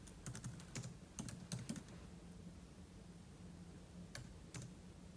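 Fingertips type quickly on a silver aluminum laptop keyboard with plastic keys, producing bursts of short, bright clicks over a steady low hum. The keystrokes cluster in the first two seconds, pause, then return as two isolated taps near the end.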